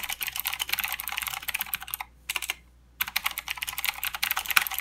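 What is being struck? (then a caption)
Mechanical keyboard with plastic keycaps. Both hands type with their fingertips on a full-size mechanical keyboard with plastic keycaps and blue clicky switches. They make a fast run of sharp, bright clicks with almost no low end. The typing stops for about a second near the middle, then resumes at the same rapid pace.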